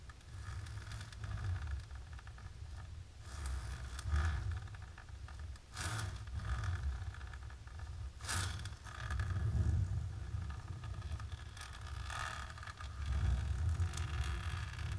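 Long natural pink nails of both hands scratch a flat, dark, embossed plastic sheet. The result is a steady, irregular scraping rustle with a low rumbling undertone. Brief, bright sweeps of scratching rise above it now and then.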